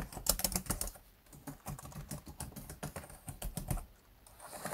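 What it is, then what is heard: Plastic laptop keyboard typing. Fingertips type and tap on the black plastic chiclet keys of a laptop keyboard in rapid, uneven bursts. Short, sharp clicks with quick decay come in clusters, with brief quieter pauses between bursts.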